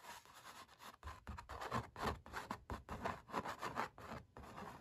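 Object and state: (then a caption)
Painted canvas being scratched and rubbed. Fingertips rub and fingernails scratch across the paint strokes of a stretched, painted oil-painting canvas. A quick, uneven run of short, dry scratching and rubbing bursts follows, centered in the midrange with soft low thumps beneath. Each stroke dies away almost at once.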